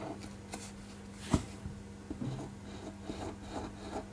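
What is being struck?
Pen tip on a paper sheet.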